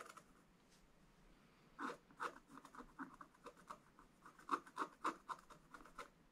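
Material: Wax-coated paper.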